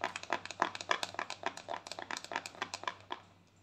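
A small round white plastic cosmetic jar, held in both hands, has its lid tapped rapidly with long thumbnails. About two dozen short, dry, clicky taps come in an uneven patter, bright and centered around 1 kHz, with no ring. The taps soften and fade out at the end.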